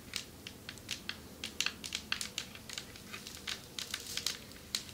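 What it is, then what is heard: Marble table top tapped with nails. Long metallic nails tap on a marble table top in a quick, irregular series of sharp, crisp clicks. Each tap is bright and dry, dying away almost at once over a faint low hiss, with a few taps landing harder than the rest.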